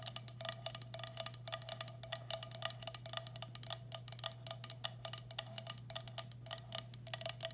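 Long black acrylic nails tap and scratch the base and sides of a medium, hollow, empty turquoise speckled glazed ceramic bowl held upside down. Dozens of quick, bright clicks with a short ring sound over a steady low hum.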